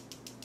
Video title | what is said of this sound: BEAUTY REVIEW HAUL-- Real Techniques, Ole Hendriksen, Farsali & more! | there's like a ball or something in there